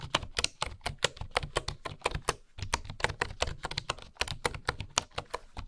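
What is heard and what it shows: Fingertips with long nails type steadily on a full-size bamboo wooden keyboard with wooden keycaps and a hollow housing, producing about 30 rapid, dry key taps. Each tap is a short, bright click over a soft, hollow low thump, dying away almost instantly.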